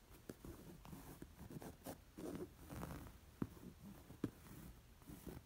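Long nails trace and scratch the bird-and-flower embroidery stitching on a square, coral, stuffed woven-fabric cushion, an embroidered linen pillow. The result is quiet, dull, low-pitched scratching and rustling in soft bursts, broken by two sharper, louder taps partway through.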